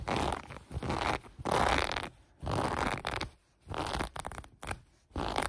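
Long brown acrylic nails scratch the ribbed elastic waistband of light gray cotton sweatpants lying on a table. The sound is a series of dry, raspy scratching bursts with a soft low rumble, broken by short silent pauses between strokes.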